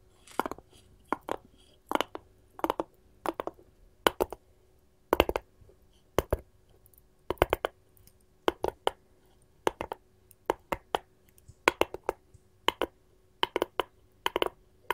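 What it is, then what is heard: Wooden cutting board tapped with metal claws. A light, solid hinoki-style wooden cutting board, held upright close to the microphone, is tapped and scratched with long gold metal filigree finger-claw jewelry. Quick clusters of short, dry, clicky taps and brief scratches fall in a steady, irregular rhythm over a quiet background, with a faint steady tone near 344 Hz. The chains may jingle faintly.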